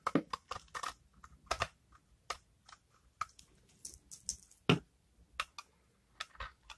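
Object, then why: Bar of soap scraped with a knife blade. A utility knife blade repeatedly scrapes a solid, palm-sized bar of dried, rancid, hardened cream soap with a brown rind, held in the hand, as dry shavings fall onto a pile. About twenty short, crisp, bright scraping clicks are heard in irregular bursts, each fading almost instantly into near silence.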